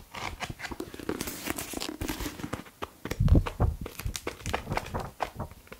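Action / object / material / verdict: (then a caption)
scrape / paperback book with paper pages / paper / none. Fingertips riffle and flip through the page edges of a thick blue and white softcover paperback, *Gestion Financière*, with its solid paper block held in one hand, and rub its cover. A quick string of dry, crinkly paper flutters and soft low thumps runs throughout, with a denser, heavier flurry a little past the midpoint.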